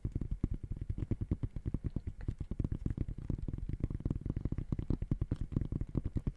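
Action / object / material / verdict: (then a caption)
tap / sneaker with synthetic mesh upper / textile mesh / none. Fingertips tap rapidly on the side of an empty gray high-top sneaker with a synthetic mesh upper, held near the mic. The result is a fast, steady stream of dull, low, muffled thumps with almost no ring and no brightness.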